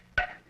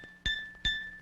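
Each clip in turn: First: wooden object identified by its knock. Second: glass object identified by its clink.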